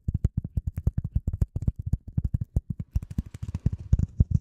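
A piece of polyethylene foam is tapped and handled for ASMR, producing a rapid run of about 29 soft, dull, low thumps with no ring. Toward the end, faint bright crinkling handling noise joins the taps.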